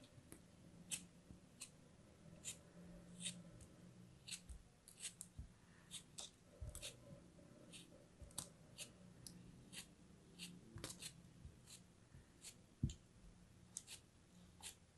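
A small solid chunk of purple kinetic sand held between the fingers is cut and scraped with a dark metal blade, and sand crumbles off. Quick, crisp bright clicks and scratches repeat throughout over a soft low rumble.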